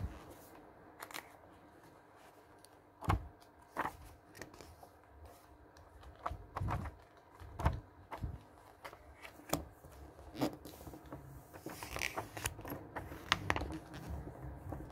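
A thumb and fingers quickly flip through the coated pages of a glossy paper travel catalog lying open on a table. Crisp, papery swishes and slaps come in an irregular run, some sharper and louder than others, with soft rustling in between over a low background rumble.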